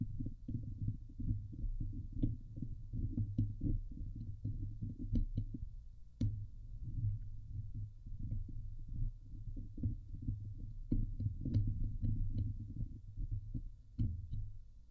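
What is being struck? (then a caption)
Metal mesh microphone grille. Long glittery nails scratch the hollow woven metal mesh dome grille of a Blue Yeti microphone. It makes a steady run of dense, muffled, low scraping and thumping with a deep hum underneath. Occasional sharper clicks flick up into a brighter range.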